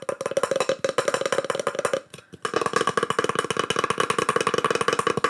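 Fast fingertip-style tapping on wood slices decorated with burned-in pyrography mushroom art gives short, dry, wood-block-like knocks with a hollow tone around 480 Hz. After a brief pause near the middle, the tapping resumes with a brighter, higher ring added to the knocks.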